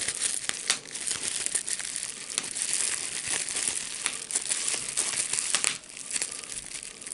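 A small bunched piece of clear plastic bubble wrap is held between both hands while the fingers squeeze, pop and crinkle it. A steady, bright crinkling hiss runs throughout, broken by sharp, quick pops that die away instantly, with almost no low end.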